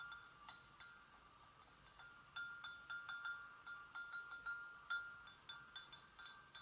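Long nails gently tap the rim and handle area of an empty, hollow white porcelain gravy boat, producing 13 bright ringing taps at an irregular pace. Each tap sets off a clear tone around 1.4 kHz with high overtones that fades quickly, against a quiet background.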